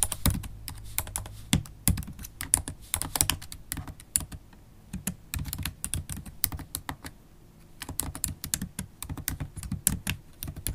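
Long acrylic stiletto nails type rapidly on a MacBook Pro keyboard with black plastic keys in an aluminium body. Bright, dry clicks and taps come in quick bursts with short pauses, each tap stopping almost instantly. A low thud sits under the clatter.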